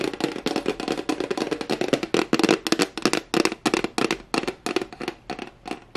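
A flat white rectangular plastic tray with a raised rim and a hollow underside is held in both hands while fingertips and nails tap quickly on its face. The result is a fast, uneven stream of dry, sharp clicks with a hollow, boxy tone around 340 Hz and bright edges, each tap dying away almost instantly.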